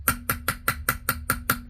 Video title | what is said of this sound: This is why you shouldn't use cast iron plumbing | it sounds Hollow I'm hoping this side here is large enough